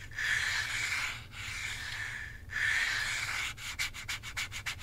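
Fingertips and long nails rub and scratch back and forth over the plastic face and buttons of a hand-sized, hollow plastic Nintendo Switch Joy-Con controller held in a grip. Three long, bright, hissing rubbing strokes with a steady tone near 1.7 kHz give way to a quick run of short, crisp scratches near the end.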